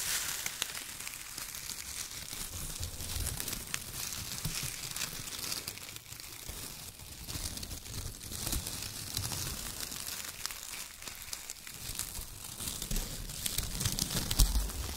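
Fingertips crumple and rub bunches of loose brown kraft paper shreds in both hands, producing a dense, continuous crinkling and rustling with bright, crisp texture and a soft low rumble underneath. The level stays fairly steady throughout, with small sharp crackles poking out, including a slightly louder one near the end.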